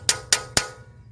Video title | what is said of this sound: Chrysler 300 Coil Rewiring for P2305 + Valve Cover Gaskets | it has a nice Hollow tapping sound until you hit bottom then it sounds solid and that's how you know you've got them seated all the way